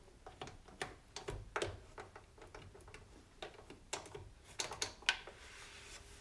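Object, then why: Plastic stove control panel with knobs. Fingers and a cloth rub over the plastic knobs and surface of a white plastic stove back panel. The result is an irregular series of short, bright ticks and clicks with soft rubbing between them, ending in a faint steady hiss.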